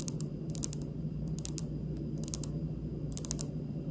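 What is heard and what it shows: Long pink almond-shaped nail tips tap close up on a large, solid, polished speckled granite countertop, producing clusters of quick, bright, dry clicks that die away instantly. The taps come in slow, loose bursts over a steady low background rumble.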